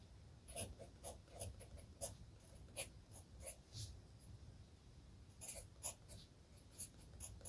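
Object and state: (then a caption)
Pencil writing on a paper notebook page. A hand writes with a red graphite pencil on the page of an open spiral-bound lined paper notebook. The pencil tip scratches continuously, with soft, bright strokes and small ticks rising over a quiet, low background rumble.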